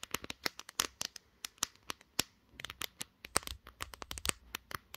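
Long green nails tap rapidly and unevenly on the glass back of a pink smartphone around its camera lenses, while the phone is held in both hands and used as the recording device. The result is a dense stream of sharp, dry, bright clicks with almost no ring or low end.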